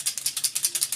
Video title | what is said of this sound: Airbrush Makeup Tips and Tricks - IHeartAirbrush | shake it real good, you can hear those mixing balls a lot louder now